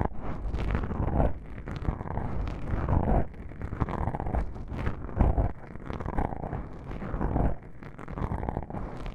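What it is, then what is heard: Foam microphone windscreen being scratched. Long pink-painted nails scratch and rub two small black foam windscreen covers on a binaural microphone, the soft, porous foam pressed against the capsules. The result is a dense, muffled, low-heavy rustling and scraping in continuous waves, with swelling strokes and brief quieter pauses and almost no bright content.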